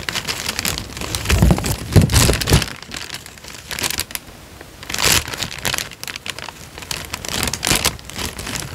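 A thin, light-brown sheet of paper, about letter size, is held in both hands close to the microphone while fingertips bend, flex and crinkle it. Dense, bright crackles come in bursts, with deeper thumping rustles early on and quieter stretches of soft crinkling between the louder swells.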